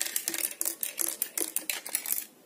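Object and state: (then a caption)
CB radio with a loose part inside. A CB radio unit, taken out of a truck for cleaning around it, is shaken by hand, giving a quick series of bright, high-pitched clicking rattles with no low end. The rattling shows that something is loose inside the radio, possibly a fuse or small internal parts.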